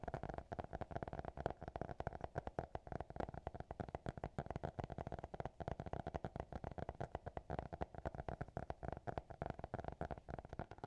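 A small, closed black hardcover notebook is tapped and scratched with fingertips and nails. The result is a quick, steady stream of short, dry taps with a muffled, hollow tone around 700 Hz, heavy in the low end, with little brightness and almost no ring after each hit.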